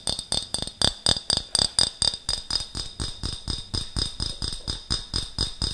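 A medium clear glass jar with a gold metal screw lid is held in the hands close by while fingertips and nails tap and scratch its glass sides and lid. A steady run of 26 quick, bright clinking taps, each with a short glassy ring near 3.5 kHz and a light scratchy texture between them.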